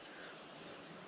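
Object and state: Nothing is struck.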